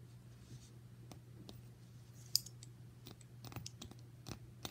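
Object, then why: Small brass caster wheel. Fingertips rub, spin and tap a small solid brass piano caster wheel with an axle pin and bracket, held close up. Soft scratching and a few sharp, bright metallic clicks sit over a steady low hum, with one louder tap standing out midway.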